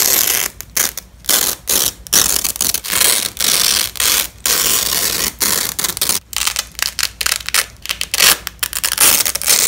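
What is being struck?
Nylon hook-and-loop fastener strap.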